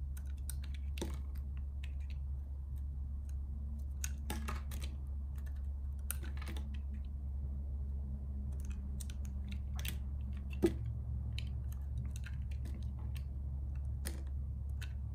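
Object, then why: Bar of soap carved with a blade. A solid purple striped bar of soap, held in the hand, is carved with a metal utility-knife blade that shaves off layers. Quiet, crisp scraping ticks and clicks come through, scattered over a steady low hum, with one sharper click standing out near the end.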